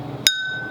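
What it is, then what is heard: Full cup of water. A cup filled to the top with water, set down on a surface, is thunked once to show how a full vessel sounds when picking a full watermelon. There is a single sharp tap with a bright, clinking tone that keeps ringing with steady high pitches over a faint low background hum.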